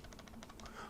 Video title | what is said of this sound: Razer Abyssus Essential Gaming Mouse (2018) Review - £50 for what? | is just a little bit of rattle